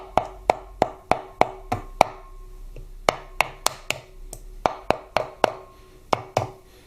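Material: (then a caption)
Aluminium. A small nylon mallet lightly taps an aluminium cam plate over its dowel pins on a Harley-Davidson Twin Cam 88ci engine, driving the plate tight onto the dowels. Eighteen short, dry, woody knocks with a midrange tone and almost no ring come in quick runs separated by brief pauses. The tapping sound changes once the plate is fully seated on the dowels.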